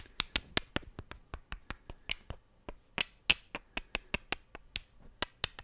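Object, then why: Two small wooden cubes. Two solid, light wooden cubes are clicked together by hand in a quick, uneven series of sharp, dry knocks. Each click is bright and high with very little low end, and it dies away almost at once with no ring.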